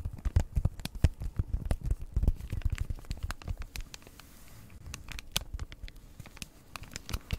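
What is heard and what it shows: Long red nails tap and scratch the front of a hand-sized, flat Christmas gift tags cross-stitch kit, printed card in plastic packaging, held in front of the mic. Rapid, dry taps with deep thumps and crisp plastic crinkles and clicks come in dense bursts, easing to softer scratching in the middle before the tapping picks up again.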